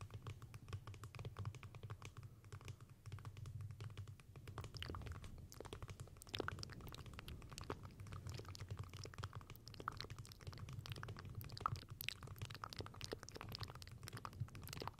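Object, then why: Book-shaped lamp with wooden covers. A closed, palm-sized, rigid book-shaped lamp with light wood covers and folded paper pages is held up while long painted nails tap and scratch its wooden cover. The result is a steady stream of quick, dry, short clicks and scratches over a low murmur throughout.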